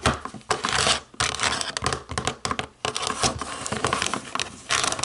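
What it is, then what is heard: Plastic TV remote. Long nails tap and scratch the buttons of a black plastic TV remote in a burst of dry clicks and rough, bright scraping rasps. The sound is thin with little low end, each tap dying away almost at once, with brief quiet gaps between flurries.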